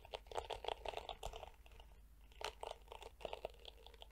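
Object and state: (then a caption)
Plastic detangling hairbrush. Long nails scratch and flick across the dense, yellow, flexible plastic bristles of a small detangling hairbrush with a black hollow plastic back. The result is a quiet run of crisp, crackling scratches and snappy flicks with a midrange rasp and bright edges, each one dying out almost instantly. A brief lull falls just before the second half.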